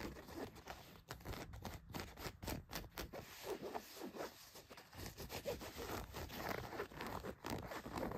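Long nails scratch across a pair of blue denim jeans laid flat, moving over the leg, the back pocket and the waistband. The result is a quiet, continuous run of dry, rasping scratch strokes with brief pauses between bursts and a soft, low undertone.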